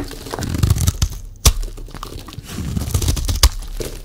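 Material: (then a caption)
Soap. A solid rectangular bar of dry green soap is held in one hand and shaved and scraped with a metal utility-knife blade, the shavings piling up below. Soft, crinkly scraping runs throughout, low and muffled, broken by a few sharp crisp cuts that snap out with bright edges, the loudest near the middle and toward the end.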